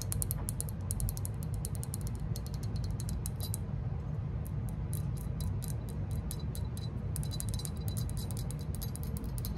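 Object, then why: Glazed ceramic lamp figure. Long nails tap and scratch the glossy surface of a hollow green glazed ceramic lantern-shaped lamp figure with a cord, held in both hands. Rapid, fine clicking taps with a bright, crisp edge run over a steady low rumble.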